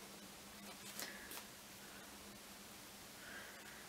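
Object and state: Nothing is struck.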